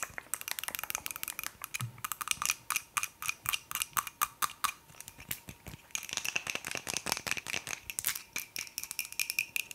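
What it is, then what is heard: Wooden cup. Fingers tap quickly on a wooden cup, producing a rapid, uneven run of short, dry clicks with bright, crisp highs and almost no ring or low end. The tapping speeds into dense bursts, then briefly thins out before picking back up.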